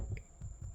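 Knuckles knock on the top of a freshly baked chocolate chip Irish soda bread loaf, still in its pan, to test whether it is done. The knocks are dull, low thuds with almost no ring. The loaf sounds hollow, meaning it is baked through.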